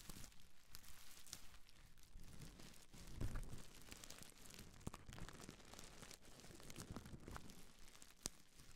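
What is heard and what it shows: A small folded bundle of clear, air-filled plastic bubble wrap is squeezed, crinkled and scratched with long nails and fingertips. Quiet, continuous crinkling and rustling is heard, with low thumping handling noise and scattered sharp crackles and snaps.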